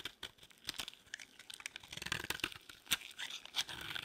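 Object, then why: Bar of soap shaved with a knife blade. A utility-knife blade shaves a solid, partly carved beige bar of dry soap into crumbly flakes. The result is a quiet string of dry, crisp crunching and scraping bursts, mostly bright and high-pitched with almost no low end.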